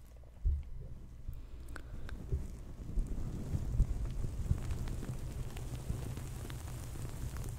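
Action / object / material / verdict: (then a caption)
scrape / stuffed fabric pillow with sequins / sequins, fabric / none. Hands rub and press the sequin surface of a soft, stuffed green crocodile sequin pillow over and against a FIFINE K690 microphone. The result is a continuous deep, muffled rumble with scattered soft thumps and faint crackly scratches, and it grows slightly fuller after the first half-second.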